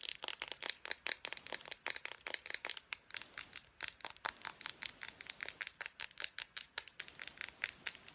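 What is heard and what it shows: Long nails tap fast along the barrel of a small, hollow Expo dry-erase marker with a black plastic body and cap. About 44 quick, bright plastic clicks sit almost entirely above 2 kHz, each dying away at once with no low end.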